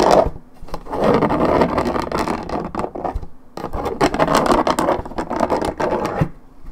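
Long red nails scratch the top surface of a hollow Minute Maid orange juice carton made of coated paperboard. Two long bursts of dense, dry, rasping scrapes centered in the midrange are separated by a short pause.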